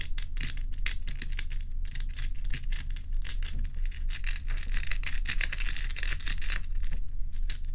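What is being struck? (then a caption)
Large ice block. Long acrylic nails and fingertips scratch and tap the frosty top of a large, solid block of ice. Quick, irregular bursts of bright, crackly scraping run almost continuously over a steady low hum. Each stroke cuts off dry with no ring.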